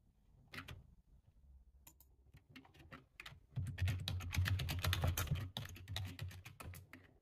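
Both hands type quickly with their fingertips on a full-size dark plastic computer keyboard. A few scattered clicks open the clip. Around the midpoint they build into a louder, dense run of rapid keystrokes with a low thump under bright clicks, then thin out toward the end.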